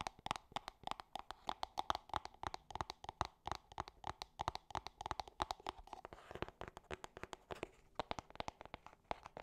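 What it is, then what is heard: Cardboard box, hollow. A small, hollow gold cardboard perfume box with a ribbon tag is tapped and scratched with long nails. Some sixty quick, dry taps each ring for a moment around 840 Hz, with a brief brushy scratch partway through. The sound is quiet and papery, with a hollow knock.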